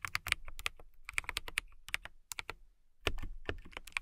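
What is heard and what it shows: Long nails and fingertips type on a transparent acrylic mechanical keyboard in close-up, giving a quick run of bright, sharp clicks with almost no ring. The keystrokes come in bursts with a brief pause near the middle before picking up again.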